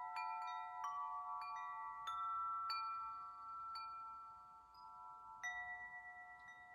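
A hollow metal tube wind chime hangs from its top string while fingertips knock and swing the tubes so they clink together. Bright, bell-like strikes layer into sustained, shimmering tones that ring for a long time and overlap. A final strike near the end rings out and fades.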